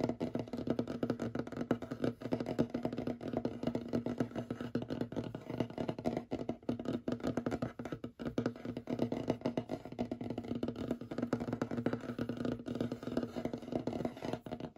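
Short fingernails of both hands rapidly tap and scratch across a large, solid, light wooden tabletop. A dense, steady stream of quick, dry taps and scrapes with almost no ring, its warm low-mid body centred around 240 Hz and little high brightness, continues evenly throughout.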